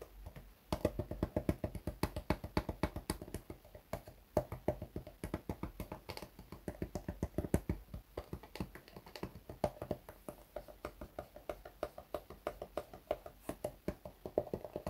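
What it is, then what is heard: Patent leather shoe tapped. An empty, hollow black glossy patent leather loafer with a thick rubber sole, held in the hands, is tapped with fingertips and fingernails. Quick, continuous tapping runs through the whole clip as soft, dull, dry thuds with little ring and hardly any bright high end.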